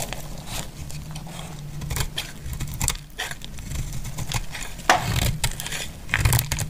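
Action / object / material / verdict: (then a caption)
scrape / soap bar cut with a knife blade / soap / none. A knife blade cuts and scrapes flakes from a solid, dry green soap bar held in the hand. The sound is a steady, dense run of dry crackling and crunchy scraping over a low rumble, with brighter crisp bursts. Sharper, louder crunches come near the five-second mark and again toward the end.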